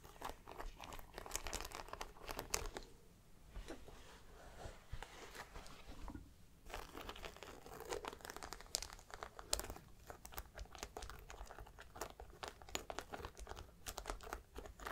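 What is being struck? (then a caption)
Suede handbag with metal studs. Long black nails tap and scratch over the brass and silver metal studs on the panel of a grey suede handbag. Dense, crisp clicks and scratchy crinkling sounds run throughout, with bright transients and brief quieter pauses.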